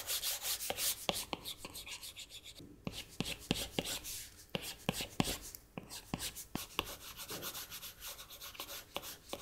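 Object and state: Glass tablet screen.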